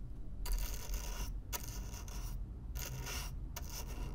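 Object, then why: Corrugated cardboard box. A stiff black-bristle brush is scraped across the surface of a hollow brown corrugated cardboard box, close up. Bursts of bright, raspy bristle scratching alternate with short pauses over a low, steady rumble.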